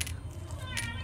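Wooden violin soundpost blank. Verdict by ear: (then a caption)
Dry. Wooden violin soundpost blanks are dropped, giving two short, bright clicking taps over a low background hum. Their clear ring marks the wood as dry and suited to resonate well in the violin body.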